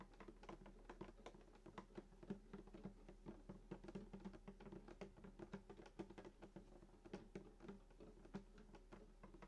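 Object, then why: Wooden acoustic guitar top. Fingertips rapidly tap the top of a full-size sunburst acoustic guitar, just below and beside the bridge, on its hollow, glossy wooden body. The result is a dense, steady stream of soft, dry taps, each with a brief hollow, low body resonance that dies out almost at once. A faint low hum runs underneath throughout.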